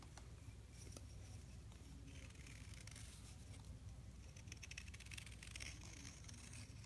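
A metal knife blade scrapes and shaves layered flakes off a solid blue gym chalk block about a hand's length, held in the palm, with blue powder falling below. A steady, quiet, dry scraping runs throughout, with bright crackling flicks of shaved chalk over a low, dull rumble.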